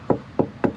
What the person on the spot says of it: see how solid that's it sounds solid it's not it's not ringing anymore